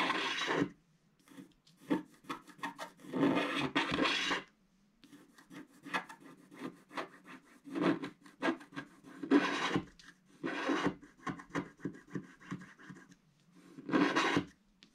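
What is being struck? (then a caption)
Coated scratch art paper card scraped with a wooden stylus. A wooden stick stylus held in the fingers scratches a flat black-coated scratch art card sheet lying on a table, making the coating flake off. Dry, rasping scrapes come in bursts: longer strokes at the start, then many shorter scratches separated by quiet pauses, each with a bright, gritty texture.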